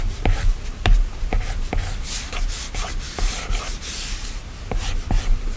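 A plastic stylus held in the hand scratches long strokes across the solid glass screen of an iPad. Dry, scratchy rubbing swells and fades with each stroke, punctuated by short, sharp ticks as the tip meets the glass, over a faint low rumble.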